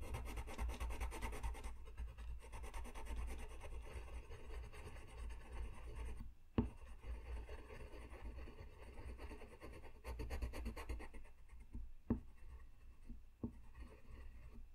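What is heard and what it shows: A blue-ended colored pencil scratches across a flat white paper sheet lying on a desk in short coloring strokes. A steady, dense scratching and rubbing continues throughout, broken by a few sharper taps and brief pauses in the strokes.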